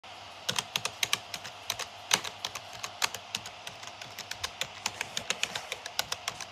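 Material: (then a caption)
Plastic. Fingertips type rapidly on a black plastic gaming keyboard with hollow keycaps over switches, pressing and tapping the keys around the O, P, L and K area. Bright, clacky taps with very quick decay and almost no low end fire in an uneven run of about 38 keystrokes, some louder than others, over a faint steady hiss.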